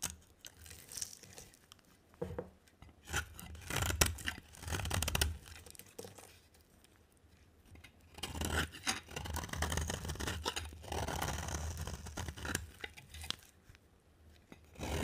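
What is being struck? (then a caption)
Bar of soap cut with a blade. An oval yellow and green bar of dry soap with a yellow coating is carved with a box cutter blade. Bursts of dry, crumbly scraping and chipping come and go over a low steady hum, with quieter pauses between strokes.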